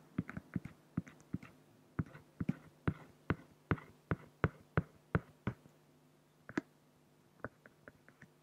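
A black fine-liner pen scratches dense hatching onto a large, flat, solid acrylic glass sheet. It makes a quick run of short, dry, scratchy strokes with bright edges and no ring, over a faint steady low hum. The strokes pause briefly near the end, then resume as a few softer ones.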